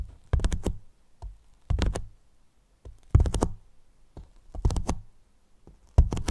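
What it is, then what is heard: Hollow polyethylene foam box. Fingertips and a flat hand tap and rub the surface of a large, hollow, white polyethylene foam block box with a microphone inside. The result is clusters of deep, muffled thumps with very short decay, concentrated low around 90 Hz, separated by near-silent pauses.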